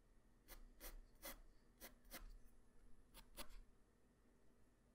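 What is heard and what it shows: A graphite pencil tip draws quick strokes across a flat white paper sheet, making soft scratching, rubbing sounds. Seven short, bright rasps stand out over a quiet, low background hiss, with a pause before the last two.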